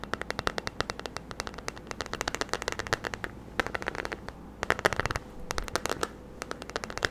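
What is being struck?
Plastic paddle hairbrush back.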